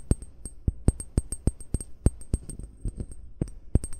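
Short fingernails tap and scratch the base of a hollow amber (brown) glass bottle lying with its base toward the mic. A quick, irregular series of dull, low knocks is heard, each dying almost instantly with a faint bright click on top. Soft scratching fills the gaps between the taps.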